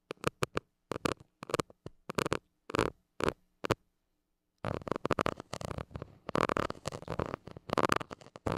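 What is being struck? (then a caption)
Metal mesh microphone grille scratched with a plastic stick. A white plastic stick scratches the hollow metal mesh grille of a small gold mini microphone. It makes short, dry, raspy scratching bursts with gaps between them, then a brief silence. The scratching then becomes denser and more continuous, with a midrange rasp around 1.2 kHz.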